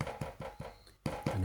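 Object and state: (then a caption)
Bread loaf sounding hollow, baked through. A freshly baked homemade bread loaf, just out of the oven, is tapped lightly in a series of soft, hollow, low thuds with a short ring. The hollow sound shows the loaf is done baking.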